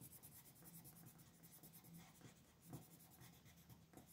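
A pink colored pencil is rubbed and scratched over a thin paper coloring sheet lying flat on a desk, coloring in small areas. Quiet, steady scratchy strokes repeat in a quick rhythm, each with a bright papery hiss over a soft low rumble.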